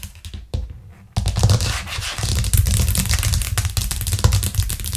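Long acrylic nails of both hands tap quickly on a thin white plastic cutting board with green rubber edges, lying flat and solid on a cork trivet. A few soft taps give way after about a second to a fast, uneven stream of sharp clicky taps over a low, hollow thump.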